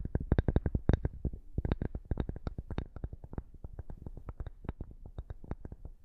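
A flat square cork board, held upright in front of the microphone, is scratched with the fingernails of both hands. It makes a rapid, uneven run of short, dry scratching strokes with a dull, low-heavy texture. Each stroke dies away almost instantly, with faint brighter flecks on some.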